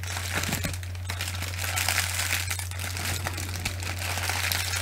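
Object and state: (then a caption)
Plastic bubble wrap crinkled. Long nails scratch and squeeze a bunched, held-up sheet of clear plastic bubble wrap, making a continuous bright crinkling and crackling. A steady low hum runs underneath the whole time.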